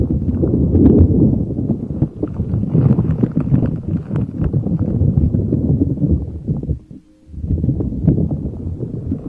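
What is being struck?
Soft spiky rubber puffer ball.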